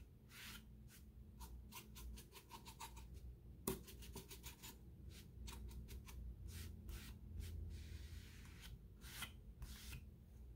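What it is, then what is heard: Wooden wall sign being wiped. A paper towel held in the fingertips wipes and rubs a solid, flat whitewashed wood plank sign with a raised "Faith" cutout mounted on the wall. Soft, dry papery swishes repeat in quick bright strokes, with a few sharper scuffs, over a low steady hum.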